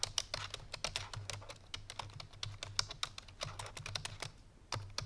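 Fingertips and painted nails of both hands type fast on a full-size black plastic computer keyboard resting on a white fur rug. A quick, uneven run of short, bright, clicky keystrokes plays over a steady low hum near 100 Hz, each tap dying away almost instantly.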